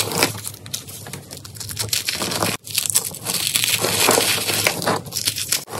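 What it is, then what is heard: Dried cornstarch paste crumbling. Hands squeeze a solid block of dried cornstarch paste and crush handfuls of its dry, brittle flakes and crumbles with fingertips and nails. The result is a dense, bright crackling crunch with fine crinkly grit and quick decay, broken by a short silence partway through before the crushing resumes.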